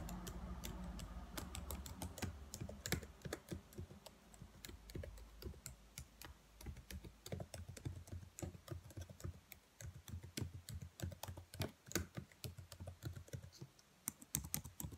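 Long nails type and tap on the keys of a black plastic laptop keyboard, making a steady run of quick, sharp clicks with bright ticks. A low hum sits under the first few seconds, then the clicks continue alone, some louder and more spaced toward the end.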